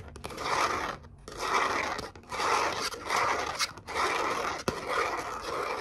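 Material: Glitter cardstock.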